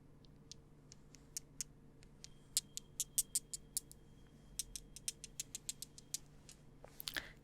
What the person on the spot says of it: natural stone or like stone material